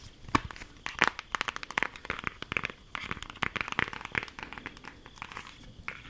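A flat rectangular cardboard eyeshadow palette with a printed cover is held in both hands and tapped and traced with long acrylic nails. The result is a quick run of dry, crisp clicks and crinkly scratching with a bright, papery edge. The sounds stop almost instantly after each one.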